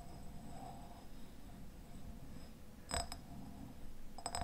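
Fingernails scratch and tap the glass sides of a medium raspberry jam jar with a red paper label, a white lid and dark contents inside. A soft, quiet scratching over a low background rumble gives way to a few sharp, bright clinks of nails on glass that die away almost at once.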